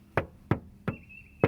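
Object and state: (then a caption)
Hollow steel door panel, no body filler. Four knocks on the lower section of a BMW E46 ZHP's steel door panel, done as a Bondo test. Each knock gives a short, hollow, tinny thud that dies away quickly. The hollow sound is normal for bare sheet metal with no body filler.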